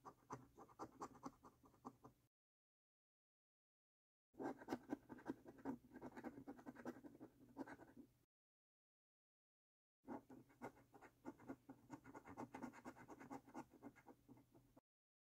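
A coin held in one hand scratches the latex coating off a thin, flat paper lottery scratch card held flat in the other hand. Quiet, rapid, raspy scraping comes in three bursts separated by brief silences.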